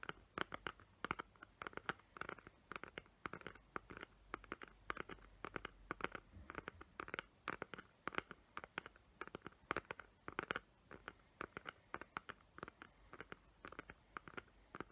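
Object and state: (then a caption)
Glitter-covered cardboard box. Long nails tap and scratch the glittery lid of a small square cardboard gift box covered in glitter paper with raised hot-glue tree outlines. The result is a quiet, steady stream of dozens of short, dry clicks and scratchy rustles, centered in the midrange with a little brightness. Each tap dies away at once, with no ring.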